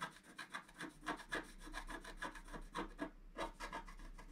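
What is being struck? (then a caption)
Black-coated scratch art card scratched with a wooden stylus. A wooden stylus scratches lines into the lower-left wing area of a flat, black-coated scratch art card resting on a table. Quiet, dry, rasping strokes repeat in an uneven rhythm, each a short, bright, scratchy rub that fades quickly.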